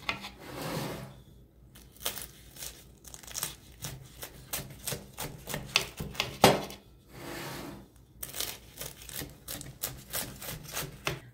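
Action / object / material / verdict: scrape / baked phyllo pastry börek cut with a knife / phyllo pastry / none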